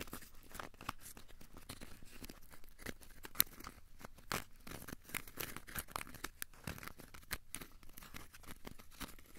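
A small, solid, crumpled ball of aluminium foil is held in both hands and squeezed and scratched with the fingertips. It makes a quiet, steady stream of dry crinkling and crackling, with many short, sharp, bright clicks that stop instantly. One louder snap stands out about a third of the way through.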